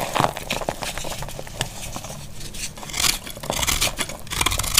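A small knife scrapes and cuts crunchy shavings from a solid, dry green soap bar held in the hand. Quick, dry, bright crackling scrapes and crisp cutting strokes follow one another with almost no ring, growing louder and denser toward the end.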